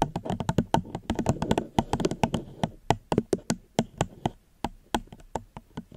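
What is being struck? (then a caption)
Plastic cup. Gentle tapping on a plastic cup close to the microphone, with a rapid run of short, dry taps that thin out into a slower, sparser pattern. Each tap is brief and hollow, with a slight low resonance near 220 Hz.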